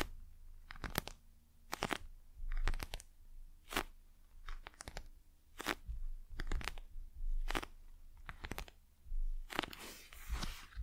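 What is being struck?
Gel-filled plastic eye mask.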